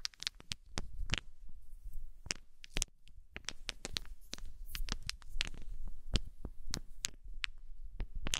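A handful of small, solid, unfinished wooden balls about 2–3 cm across are scooped up with long nails and fingers, clacking together and dropping onto a fluffy blanket. Sharp, bright clicks and clacks come in rapid, irregular bursts and die away almost instantly, over soft, low, muffled rustling and thuds.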